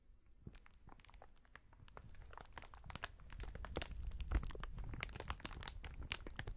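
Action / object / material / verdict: shake / inflated plastic air pillow sheet / plastic film / none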